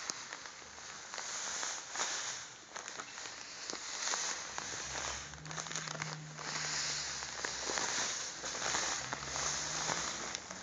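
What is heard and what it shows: A full white and blue plastic bag of sugar is held in the hands while the fingertips squeeze and rub it. The result is a steady, bright crinkle with a granular crunch, rising and falling in irregular swells over a faint low hum.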